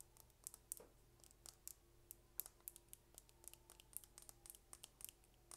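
A slim, small, dark purple plastic lip gloss tube with a gold cap, hollow with gloss inside, is held in one hand and tapped rapidly with long red nails. The result is a quiet run of crisp, bright clicks with almost no ring, over a faint steady low hum.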